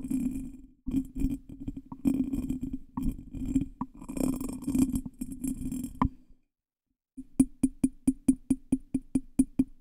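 Fingertips and nails tap and scratch the textured body and base of a small, hollow, ornate cut glass bottle that looks empty and is held in the hand. For about six seconds the sound is a busy mix of rapid clicks and scratchy rubbing over a low, hollow tone near 262 Hz with bright glassy overtones. After a brief silence, about a dozen separate, evenly spaced taps follow, each short and clinking.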